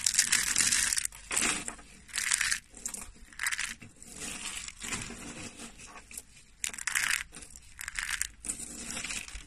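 Bare fingers with short nails grab, crush and crumble handfuls from a pile of thin, pale yellow flakes of dry soap. The result is bursts of dry, bright crunching and crackling, with quieter rustling in between.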